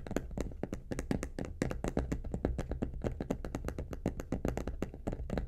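Long painted nails tap rapidly on the lid and front of a medium, hollow, polka-dot faux leather vanity case with a metal handle. The result is a fast, dense run of short, dry clicks over a soft, hollow low thump, each tap dying away almost instantly.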